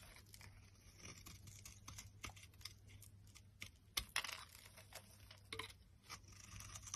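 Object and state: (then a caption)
Dry bar soap being shaved. A solid, dry purple-and-white striped bar of soap is shaved with a metal utility blade, producing a steady run of bright, crisp scraping strokes. Sharp high crackles spike out of the scraping, the loudest near the middle, over a faint low hum.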